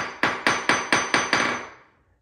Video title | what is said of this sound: Ceramic Tile To Vinyl Plank Flooring - Updating Our Laundry Room | see how it sounded kind of sounds solid